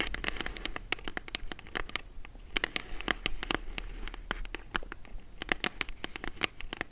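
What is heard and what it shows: Long acrylic nails tap and scratch the front and sides of a small, hollow brown kraft cardboard mailer box held in both hands. The result is a quick, steady run of short, dry clicks with bright crackly edges, layered over a low steady hum and soft scratchy rustling between the taps.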